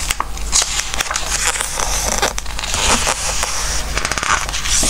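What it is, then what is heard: Glossy paper book pages being rubbed and turned. A flat hand and fingertips rub across the glossy paper pages of an open Christmas craft book lying on a wooden table, turning them as they go. Squeaky paper rubbing and bright, crisp rustles and crackles continue throughout, over a steady low hum.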